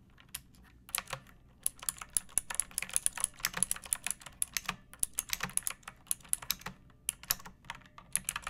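A pink plastic mechanical keyboard with round backlit keycaps and a hollow body, resting on a wooden surface, is typed on with long painted nails and fingertips. Quick, bright, clicky clacks come in irregular bursts with short pauses between them. Each keystroke stops almost instantly, leaving a quiet, crisp patter.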